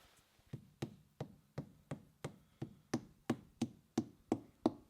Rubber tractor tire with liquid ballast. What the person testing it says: It definitely sounds like it's hollow up here